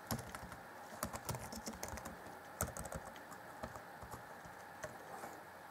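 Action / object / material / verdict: tap / plastic laptop keyboard / plastic / none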